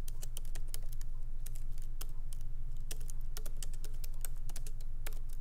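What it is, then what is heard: Laptop keyboard with plastic keys. Light typing with the fingertips of both hands on a MacBook Pro laptop keyboard, its small plastic keycaps set in an aluminum body, resting on a wooden desk. Quick, irregular, bright little clicks patter steadily over a constant low hum, each tap short with almost no ring.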